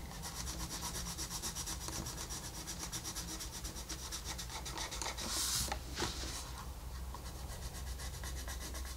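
A wooden colored pencil rubs and shades across a flat paper coloring book page, making a steady, quick scratchy rasp of rhythmic strokes over a low hum. Around the middle, a brighter, louder brush of paper cuts through before the even shading strokes resume.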